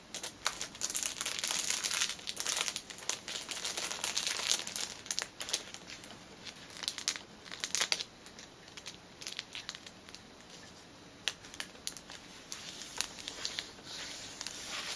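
Fingernails scratch and fingertips rub the crinkly clear plastic sleeve around a flat, cellophane-wrapped fitness band package. Dense, bright crinkling and crackling fills the first half, then eases into softer rustling broken by occasional sharp crackles.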